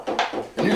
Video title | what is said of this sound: Meatloaf: Cooking With TheDoerle | you can hear when it starts releasing